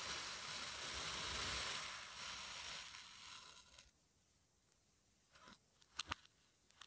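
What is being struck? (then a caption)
Kinetic sand mold. A long thin metal blade slices down through a flat, solid, hand-sized, sun-shaped mold of orange kinetic sand pressed with a pattern, cutting it repeatedly so the severed slices fall aside. A bright, grainy hiss runs steadily for about four seconds, then drops to near silence broken by a few soft, crumbly ticks.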